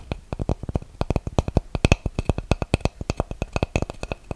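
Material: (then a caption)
Wood. A flat, solid, round light-wood disc is held against the microphone and tapped and scratched with fingernails. About thirty quick, dry, close-up taps follow one another in an uneven rhythm. Each is a deep, thumping knock with a faint bright click on top that dies away almost instantly.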